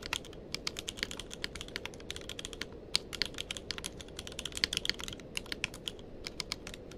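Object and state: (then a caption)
Mechanical keyboard with plastic keycaps. Fingertips of both hands type continuously on a tenkeyless mechanical keyboard with plastic keycaps. The result is a steady stream of short, bright, crisp key clicks that die away almost instantly, over a soft, constant low background noise.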